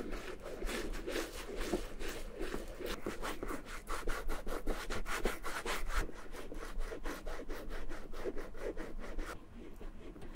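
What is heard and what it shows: Fingertips rub cream into the pebbled leather flap of a small red Gucci Bamboo handle mini bag with a suede body, the bag hollow and closed. Steady, rhythmic soft rubbing strokes make a muffled, low-heavy swishing that continues throughout and eases slightly near the end.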